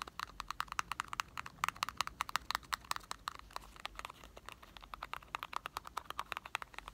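Fingertips tap rapidly and unevenly on a small, hollow, printed cardboard box of Marble chocolates that may have candy rattling inside. The result is a dense run of short, dry clicks with no ring, centered around 1.3 kHz with some bright edges.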